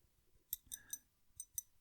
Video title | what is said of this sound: Pens In Use November 2022 - Use Me Up | as I tap it, you can hear something tapping inside